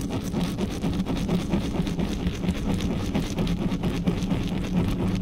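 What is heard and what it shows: Long natural nails and fingertips of both hands scratch fast and rub over the hollow metal mesh grille of a large black USB condenser microphone on a stand, with no cover on it. The result is a dense, continuous scratching and rubbing that sounds mostly as a low, boomy rumble with a faint crackly texture on top, staying at a steady level throughout.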